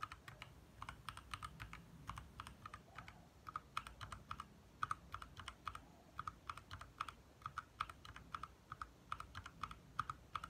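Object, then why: Plastic mechanical keyboard. Fingertips of both hands type fast on a compact 60% backlit mechanical keyboard with lit plastic keycaps. A steady run of quick, sharp clicks and clacks with a pitched tick near 1.3 kHz and bright edges dies away almost instantly over a quiet low rumble.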